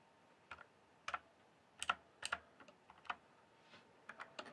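Fingertips type on a full-size RGB-backlit mechanical gaming keyboard with plastic keycaps, producing about ten sharp, irregularly spaced key clacks. Each click is brief, with a midrange body and a bright top, over a quiet background.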